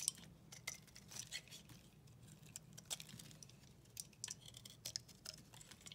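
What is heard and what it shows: A solid white bar of soap held in the hand has its surface scraped with a flat utility knife blade. Quiet, crisp, bright crunching and scraping ticks come in irregular bursts over a low, soft background hum.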